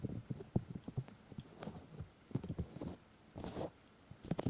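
White silicone ears on a 3Dio Free Space microphone are rubbed and cupped with the fingertips and palms of both hands. The result is muffled, low, close-up thumps and soft brushing swishes, with a few longer hissy rubs between the dull taps.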